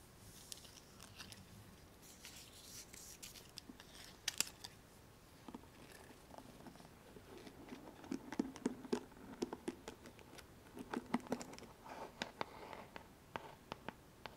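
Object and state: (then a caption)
Plastic paddle hairbrush. Fingernails run over the handle of a pink plastic paddle hairbrush and pluck its plastic pins set in a black cushion pad. Soft, bright scratching gives way to a quick series of sharp, dry plastic clicks and ticks that stop short with no ring.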